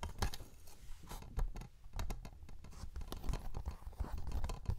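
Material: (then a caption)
Cellulose. A small, flat, yellow cellulose sponge, porous and soft, is held in both hands close to the mic and squeezed and rubbed with the fingertips. It makes a steady run of soft, dull, scratchy crackles and squishes, heavy in the low end, with brief brighter rustling bursts.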